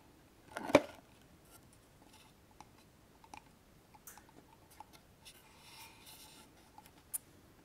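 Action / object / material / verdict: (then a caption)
tap / small wooden box with metal clasp / wood / none. A small hollow wooden keepsake box with a metal latch, held up in both hands, is tapped and scratched on its front and sides with long polished nails. A louder, hollow knock opens the clip, followed by scattered soft taps and light clicks with a mid-range, woody tone. A brief stretch of faint bright scratching comes near the end, then one sharp click.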